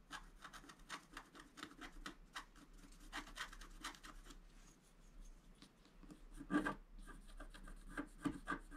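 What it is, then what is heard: Scratch art paper card. A wooden scratch stylus, held in one hand, scrapes steady strokes across a flat A4-size scratch art sheet (black coating over coloured foil paper) lying on a table and held flat by the other hand. Quiet, dry, rasping scratches repeat in quick, short strokes, each with a bright papery hiss and almost no ring. A few louder, harsher strokes come near the end.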